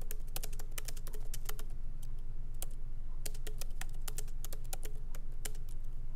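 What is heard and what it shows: Both hands type lightly with their fingertips on a MacBook Pro laptop keyboard, plastic keycaps set in an aluminum body, resting on a wooden desk. Quick, irregular, bright clicks from the keys run over a steady low hum.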